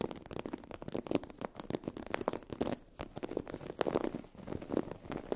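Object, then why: Sheet of textured vinyl faux-leather fabric. Long acrylic nails scratch and tap across a sheet of iridescent holographic vinyl/PU faux-leather fabric with a raised scale texture. The result is a dense run of quick, dry clicks and scratchy rasps, centered in the low-mid range with little bass or high sparkle, with brief pauses between bursts.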